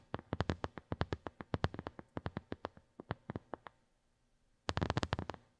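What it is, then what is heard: Silicone phone case. A small white silicone phone case with raised square bumps, a hollow shell resting on carpet, is tapped fast with the long nails of both hands. The quick, dull clicks come in an uneven run, then pause briefly before a denser burst of tapping at the end.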